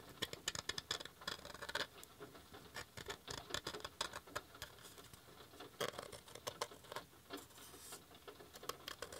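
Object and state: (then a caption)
Wooden coaster. A handmade wooden coaster is gently tapped in an uneven stream of quick, light taps with some scratchy patter in between. Each tap is short and dry with almost no ring, bright and thin with very little low end, and stays quiet throughout.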